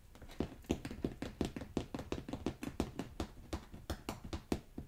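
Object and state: Carpet remnants.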